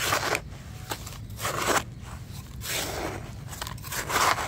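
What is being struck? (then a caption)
Damp sand-cement mix in a bucket, metal spatula. A hand-held metal spatula digs into a bucket of crumbly, damp sand-cement mix, lifting and scraping through the clumps. Gritty, crunching scrapes come in uneven bursts, with bright, sandy hiss between the strokes.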